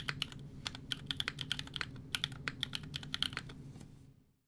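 Fingertips of both hands type rapidly on a 60% mechanical keyboard with a Fjell case, FR4 plate, GMK Serika ABS plastic keycaps and EMOGOGO tactile switches. About two dozen short, bright clacks sound over a faint low hum, each stopping almost instantly. The typing runs for about four seconds and then goes quiet.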